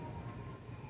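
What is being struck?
Nothing is struck.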